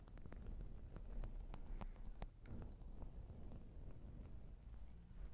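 Fingertips of both hands, one wearing rings, tap and scratch around a soft, porous, fist-sized black foam windscreen covering a microphone. The result is a steady stream of muffled low thumps and rustling scrapes, with brief brighter ticks scattered through.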